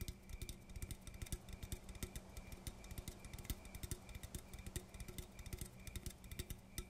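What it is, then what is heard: Aluminum coffee can. An aluminum coffee can is tapped quickly and unevenly with fingertips, making a stream of short, dry, hollow taps with a low body and bright metallic clicks over a faint steady hum. Each tap dies almost instantly with no ringing.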